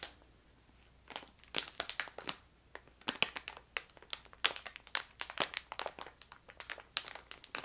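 A hand-sized yellow crinkly plastic bag of ginger candy, filled with candies, is held in both hands and crinkled and squeezed with long painted nails and fingertips. After a near-silent first second, rapid bright crackling crinkles come in quick, sharp bursts with almost no low end, continuing to the end.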